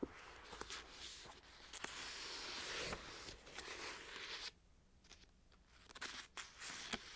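A long white acrylic fingernail scratches and taps the glossy card cover of the paperback book "The Arc," a solid paper book lying on a knit blanket. A bright, hissy scratching fills the first half, then drops to near quiet with a few sharp, dry taps and short scrapes that stop almost instantly.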